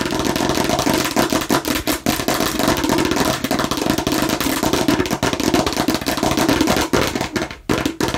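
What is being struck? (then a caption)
Plastic watermelon-slice bottle. Long nails rapidly tap and clatter across the red seeded face of a hollow plastic watermelon-slice bottle. The result is a dense, continuous stream of short, dry clicks with a hollow mid-pitched body and very little ring.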